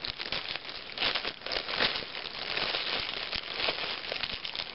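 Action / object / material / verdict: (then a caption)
scrape / thin plastic shrink-wrap film / plastic / none. A hand with painted nails crumples a thin, clear plastic shrink-wrap film taken off a brand new Self magazine, which lies untouched on the table below. The crinkling and crackling run continuously for about five seconds, bright and dense, with almost no low end and brief louder bursts as the film is squeezed.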